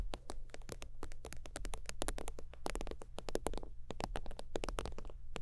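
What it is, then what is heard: Faux-leather zip wallet. Long teal nails rapidly tap and lightly scratch a holographic faux-leather zip wallet lying flat. The result is a dense stream of crisp, very short clicks with a bright top, layered over a steady low hum.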